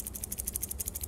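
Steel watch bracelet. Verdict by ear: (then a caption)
Solid. A steel bracelet with solid end links on a Seiko SARY055 watch is shaken close to the microphone. It makes a rapid series of bright, metallic clinks, with low rumble underneath. The rattle sounds solid, not hollow.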